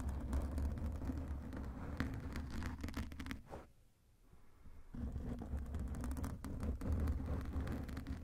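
Fingertips of both hands scratch and rub over a black foam microphone windscreen, producing a dense, boomy, crackling rustle concentrated in the low end. The scratching drops to near silence for about a second around the middle, then resumes just as thick and rumbling to the end.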